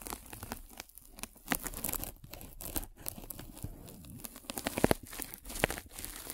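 A metal-spiked derma roller is rolled over a white polyethylene foam mesh net stretched over a microphone. Dense, crinkly crunching and tearing-like scratches rise and fall in irregular bursts, with a few sharper bright clicks standing out.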